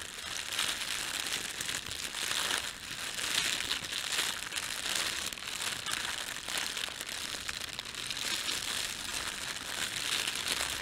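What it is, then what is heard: Thin plastic bread bag being crumpled. Hands crumple a red-and-white printed thin plastic bakery bread bag, then rub it flat. The result is a steady, dense crinkling and crackling for about 11 seconds, bright and hissy with almost no low end.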